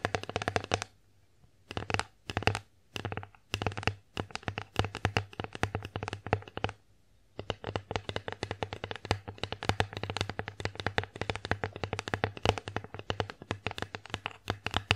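An empty wooden bear-face plate, held upright, is tapped with long acrylic nails, producing rapid, dry clicking taps with a bright edge and a low, hollow body. Short bursts come first, separated by brief silences, then from about 7 seconds the tapping runs on continuously to the end.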